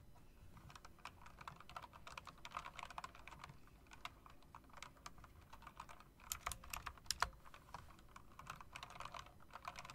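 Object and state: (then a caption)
Mechanical keyboard being typed on. Long dark nails tap and type on the round keycaps of a backlit plastic and metal typewriter-style mechanical keyboard. A steady stream of quick, short, bright clicks is heard at a quiet level, with a few sharper, louder clacks near the middle of the clip.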